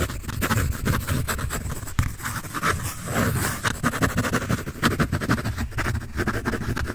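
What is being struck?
Pencil on a large paper sheet.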